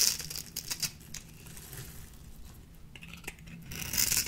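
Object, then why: Bar of soap shaved with a small blade. A small metal blade shaves the cubed surface off a solid, dry, peach-orange bar of soap, and chunks break away as the bar thins. The sound is a quiet, dry, crisp scraping and crackling that is mostly bright and high. Sharper snaps come near the start, and a louder burst of crumbling comes at the end.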